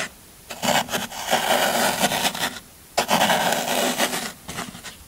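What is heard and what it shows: A small metal blade tool scrapes and digs along the side edge of a solid green floral foam brick held flat by a hand. Two long passes of dense, gritty crunching and rasping are heard, with a quieter, softer scrape trailing off at the end.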